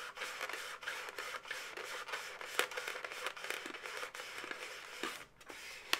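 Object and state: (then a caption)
Latex balloon animal being scratched and rubbed. Long nails rub and scratch the segments of a hollow, air-filled pink latex twisting-balloon animal held in both hands. The result is a steady, bright, dry scratching and squeaking texture with frequent short ticks and scrapes. A couple of sharper clicks stand out near the middle and at the very end.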